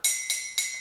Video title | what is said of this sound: Sound Tapping Bottles | this one with more water a lower pitch when I tap on it